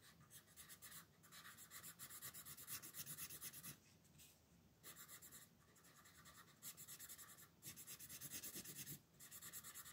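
A red wooden colored pencil rubs in fast shading strokes over a dinosaur's body on a thin paper coloring book page resting on a table. The result is a bright, scratchy rasp of rapid back-and-forth strokes in bursts, separated by brief pauses.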